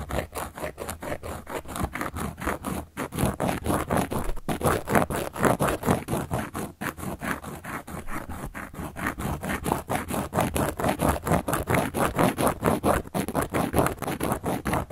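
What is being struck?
Cork board.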